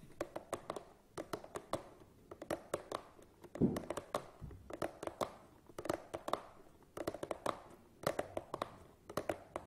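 Fingertips and nails tap rapidly on the side ends of a long, hollow cardboard tripod box. The taps come in quick bursts and sound dull and hollow, with a midrange knock, little bass, and a short decay, plus one louder thump partway through.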